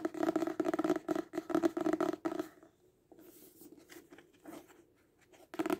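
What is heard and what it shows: A paperback book, turned sideways partway, is tapped rapidly on its cover with the fingertips and nails, producing quick, dry, papery taps with a hollow low-mid tone. The brisk tapping is loud for the first two and a half seconds, drops to softer, sparser taps, then returns in a short loud burst at the end.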